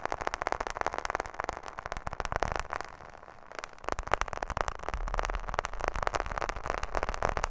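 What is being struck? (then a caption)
Smartphone in a plastic case with glass screen. A smartphone in a black plastic case, held close to the microphone, is tapped rapidly with long nails on both the case and the glass screen. The result is a dense, irregular stream of sharp, dry clicks that eases briefly into a softer patter near the middle before picking back up.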